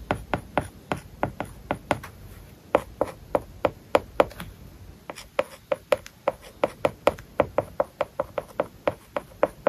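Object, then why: Plastic stylus on a tablet screen covered with matte plastic film. A plastic stylus writes on an iPad lying flat with a matte plastic paper-like film over its glass screen, scratching and tapping the surface. Quick, dry clicks, 39 in all, come in an irregular stream over faint scratching, each with a short hollow tone near 530 Hz that dies away almost instantly.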